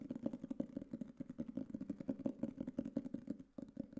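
A black hardcover notebook or book case, about book size with a cover that looks like cardboard board with a textured coating, is held upright in both hands and tapped with fingertips and nails on its cover. Rapid, continuous taps produce dull, hollow knocks centred around 270 Hz that die away almost instantly, with faint brighter clicks from the nails.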